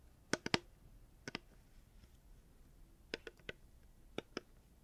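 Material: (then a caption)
Hard plastic. A reusable hard plastic water bottle is tapped with the fingers, giving ten short, sharp clicks in small clusters separated by pauses. Each tap is crisp and bright, dying away almost instantly against a quiet background.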